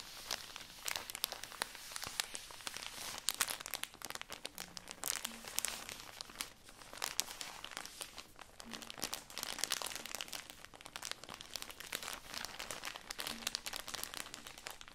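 Fingertips and long nails squeeze and scratch the thin, crinkly plastic wrapper of a full, tall cylindrical stack of cotton pads held upright. A continuous stream of fast, bright crinkling and scratching sounds fills the whole 15 seconds at a soft level, with faint low tones underneath at a few moments.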